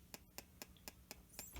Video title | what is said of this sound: Trying Duck Eggs For The First Time & A Special Gift To Our 500 subscribers | these are like banging wood together almost